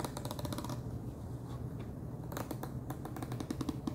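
Fingernails tap and drum on the top of a wide orange plastic screw lid on a large clear plastic jar full of Chester's Cheddar Paws cheese puffs. A rapid run of short, dry clicks with a hollow low body comes in bursts, eases into softer drumming midway, then picks up into sharper taps again.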